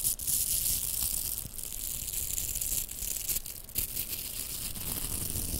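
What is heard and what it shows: Two pink hollow velcro plastic hair rollers are rubbed together and scratched with long nails. The result is a steady, bright, scratchy rasping with a low rumble underneath and a few sharper crackling bursts along the way.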